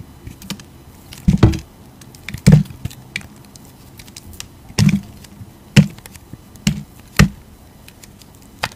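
A hand with long teal nails holds a solid white soap bar with colored flecks while a utility knife blade chops into it and cuts off its corners to carve it. Several sharp, dull chops with a low, thudding body stand out among lighter ticking cuts and scrapes, each dying away quickly, in a quiet setting.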